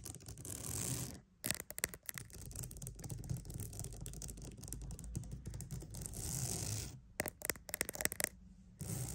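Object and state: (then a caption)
Wooden mat. A wooden mat is tapped and scratched up close, giving dense, dry scratching with a bright, airy hiss and quick sharp taps. Short gaps break up the texture, and the taps cluster near the end, each dying away almost instantly.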